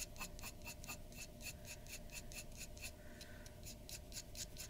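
A glass dip pen's metal nib scratches rapid hatching strokes in the hair area of a drawing on flat white drawing paper resting on a wooden desk. Quick, bright, dry scratches repeat in a steady rhythm over a low, quiet background, with the pen never leaving the paper.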